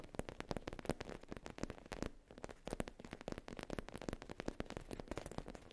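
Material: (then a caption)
Faux leather. Long nails tap and scratch across the top of a soft, flat black faux leather zip pouch with an embossed logo. Dense, quick, dry taps with almost no ring are heard over a soft scratchy rustle, with a midrange body and a little low-end thump, and a brief quieter pause around the middle.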